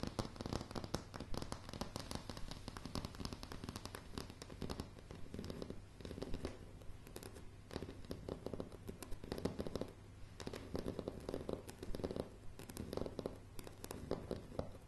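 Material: Wood.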